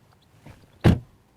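A car door is shut with a single low, solid thud that dies away quickly, preceded by a faint softer knock. The close sounds good and solid.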